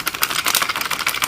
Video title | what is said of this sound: Fake Vs Real Beats by Dr Dre Pro headphone | when you pick it up, rattles like crazy